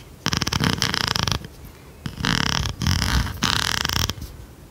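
An oversized blue plastic pencil sharpener with a metal blade is scratched and tapped with long red nails. The sound comes in several dense, rasping bursts with fast, rhythmic flutter across a broad range from low thumps to bright scratchy tones. Short quiet gaps fall between the bursts.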